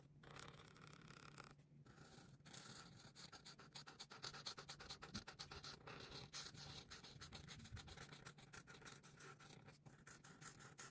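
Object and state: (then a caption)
Marker scratching on paper. A marker's chisel tip is rubbed and scratched back and forth across a thin white coloring book page lying flat on a table, held in a hand with long pink nails, filling a square with pink. The result is a steady, dense, bright scratchy rasp of quick repeated strokes, broken by brief pauses.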